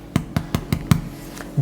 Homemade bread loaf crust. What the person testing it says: बाहर से बहुत अच्छा और कुरकुरा है